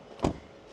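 A door of an all-new Skoda Kodiaq vRS is shut once, giving a single short, low thud that dies away quickly. The close sounds solid.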